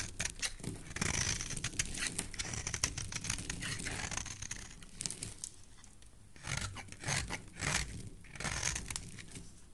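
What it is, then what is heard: Soap bar being carved. A solid, hand-sized orange oval soap bar is held in the hand and shaved with a utility knife blade, carving off thin curls. The scraping gives dense, bright, crisp crinkling and crackling strokes over a soft low rumble, in bursts with brief quieter pauses.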